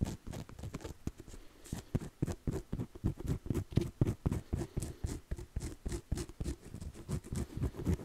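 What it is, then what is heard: Faux leather notebook cover. Fingertips and nails tap and scratch the front cover of a closed navy faux leather journal held upright with its strap visible. About thirty quick, dull, low-pitched taps arrive in a loose rhythm of roughly four per second, with soft scratching between them and each tap dying away almost at once.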